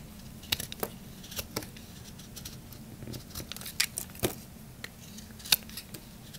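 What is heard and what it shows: A knife blade shaves curled strips off a solid, dry green Camay bar soap held in the hand. Short, bright scraping and crisp snapping sounds come at irregular intervals over a quiet, steady background hiss.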